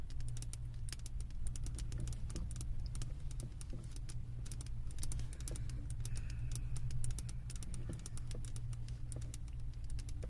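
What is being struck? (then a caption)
Glass candle jar filled with wax. Long nails tap rapidly on the bottom rim of a glass candle jar full of wax, making a steady stream of bright, short clicks. A constant low hum sits underneath throughout.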